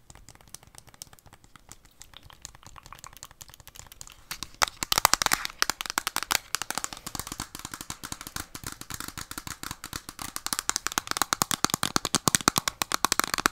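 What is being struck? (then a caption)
Plastic handheld game console. Long, dark-painted nails tap fast and press buttons close to the microphone on a hollow, handheld plastic Nintendo Switch console with red and blue Joy-Con controllers attached. The result is a rapid stream of short, dry, bright clicks and taps with no ring. They stay soft for the first few seconds, then turn louder and denser from about 4.5 seconds on.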